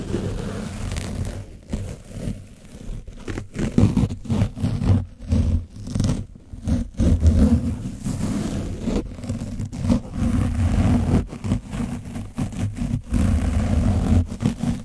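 A foam microphone windscreen coated in orange dried paint is scrubbed with a foam sponge brush, then briefly rubbed and squeezed by the hand holding the brush. The result is a dense, muffled scratching and scraping that rumbles heavily in the low range, pulsing in rough bursts with almost no bright content.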